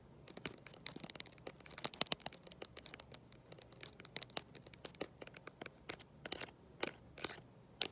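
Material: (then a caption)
Glass. Long nails fitted with gold metal paperclips rapidly tap and scratch the glossy glass back of a black smartphone, held in one hand with no case. The result is a quiet, dense stream of sharp, bright clicks and scratchy scrapes with almost no low end, each tick dying away instantly.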